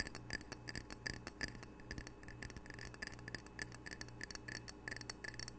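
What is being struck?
Glazed ceramic tile coaster.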